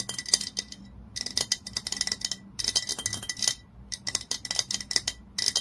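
Long nails tap quickly on the body of a glass olive oil bottle lying on its side. Bursts of bright, clicky glassy ticks come in rapid clusters separated by short pauses, each tap dying almost instantly with a faint high ring.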